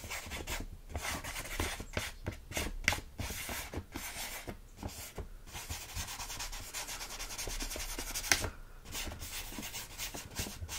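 A fingernail slowly scratches and rubs the front of a full plastic bag of rolled oats. Repeated dry, bright scratching strokes with crinkly plastic texture sit over a soft, low rustle of the oats shifting inside.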